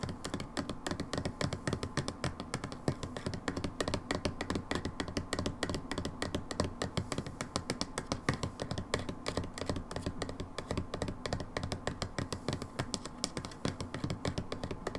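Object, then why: Plastic bottle. Long nails tap rapidly on the label and ribbed plastic of a brown plastic hydrogen peroxide bottle held on a table. The result is a dense, steady stream of short, dry clicks and hollow taps with a low, thuddy body and little bright edge, each tap dying away almost instantly.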